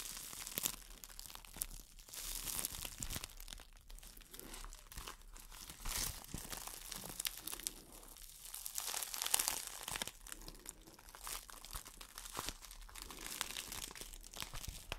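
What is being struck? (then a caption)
Thin plastic wrap bag. A clear, thin, empty plastic wrap bag is crinkled and squeezed by hands with long nails. It makes a continuous stream of quiet, bright crackling and crunching, with brief louder swells of rustling.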